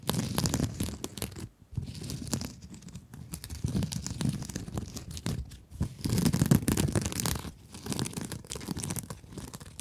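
Long nails scratch across the surface of a blue mesh-covered scrub sponge held close to the microphone. The result is a dense, rapid rasping and crinkling with a heavy low body and bright scratchy edges, coming in uneven bursts with brief pauses.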